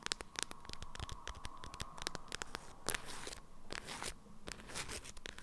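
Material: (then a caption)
Waxed fabric. An item wrapped in an orange-print, beeswax-coated fabric food wrap is turned in the hands while long nails scratch and crinkle the stiff waxed fabric. Quick, bright crackles and scratches come in dense bursts over a low rustle, with a faint steady tone near 1 kHz through the first half. Each sound stops dead with almost no ring.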